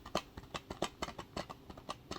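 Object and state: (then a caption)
Plastic game case with a disc inside. A plastic video game case for Horizon Forbidden West, with the disc inside, is tapped repeatedly. The taps are quick, light and clicky with a midrange tone. The disc can be faintly heard rattling inside the case.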